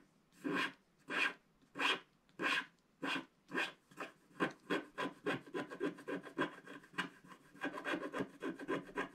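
A wooden stick scratches the cloud areas at the top right of a flat black wax-coated scratch art paper card, making dry, raspy scraping strokes with a bright, papery hiss. The strokes start as slow, evenly spaced separate passes, then speed up into quicker, overlapping scratches that run together toward the end.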